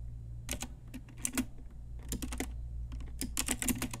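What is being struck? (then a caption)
Plastic mechanical keyboard. Long nails and fingertips type on a pink Ajazz retro typewriter-style mechanical keyboard with round plastic keycaps. Bursts of bright, crisp plastic clicks and clacks come in quick clusters over a steady low hum.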